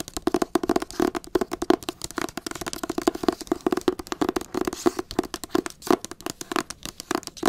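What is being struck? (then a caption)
Hardcover book cover tapped and scratched with fingernails. Long acrylic nails tap and scratch the cover of a teal hardcover book held up close. The result is a rapid, uneven run of short, dry clicks with quick decay and a faint low-mid tone. Soft scratching fills the gaps between the taps.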